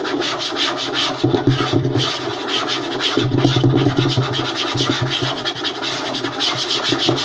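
Fingertips and short nails scratch and tap fast on a flat, light wooden tabletop. A dense, rapid rasp of scratches runs throughout, with bright hiss on top and bursts of low, hollow wooden knocks mixed in, about four strokes per second at an uneven pace.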